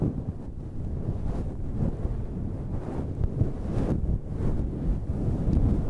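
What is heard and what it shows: Long red nails and fingertips scratch a dark grey, fluffy synthetic faux-fur windscreen over a microphone. The result is a continuous low, muffled rumble with soft swelling brushes and almost no high end.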